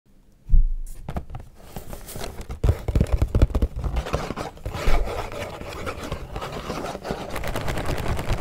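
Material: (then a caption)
Cardboard. Short natural nails and fingertips tap and scratch the surface of a small, closed, blue printed cardboard box of Mini Oreo cookies, held in both hands, hollow with the cookies still inside. After a brief silence, a dense run of quick, dry taps and scratchy rubbing begins, dominated by dull, low, hollow thumps with little brightness. The sound carries on unevenly to the end, with a few louder knocks standing out.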